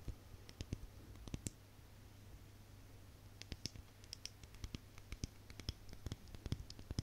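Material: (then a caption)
Plastic. Long nails tap on the lid and label of a small white plastic cosmetic jar with a lid, making sharp, dry clicking taps with bright edges that die away instantly. Taps come in irregular clusters, with a quiet pause in the middle and a quicker run toward the end. A steady low hum runs underneath throughout.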